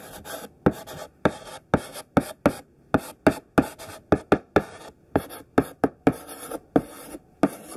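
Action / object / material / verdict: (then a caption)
scrape / thick sidewalk chalk on a chalkboard / chalk / none. Thick, solid pink sidewalk chalk writes text on a black chalkboard in scratchy strokes. A steady run of sharp, dry taps as the chalk strikes the board is each followed by a brief, gritty scrape, with short quiet gaps between strokes.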